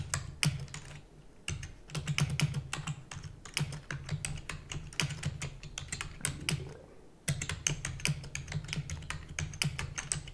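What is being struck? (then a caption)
Plastic computer keyboard. Fingertips with long natural nails type rapidly on a full-size black plastic computer keyboard with plastic keys and a hollow housing. Bursts of sharp, bright clicks ride over a low hum and are broken by two brief pauses.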